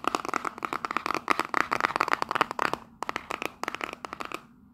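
Long nails rapidly tap and scratch the faces and edges of a small, hollow, printed cardboard souvenir box held in both hands. Dense, dry clicks with a hollow papery tone around 1.2 kHz run together with brief scratchy swipes, pausing briefly near the three-second mark. Each tap dies out instantly with no ring, and the sound trails off at the end.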